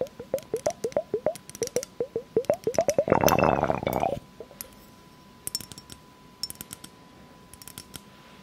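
Long fake nails tap rapidly on an hourglass-shaped glass vessel partly filled with blue liquid, giving short ringing clinks around 500–700 Hz that glide slightly upward in pitch. A dense second of scratching against the glass follows, then sparser, quieter taps and clicks, with a faint steady tone underneath throughout.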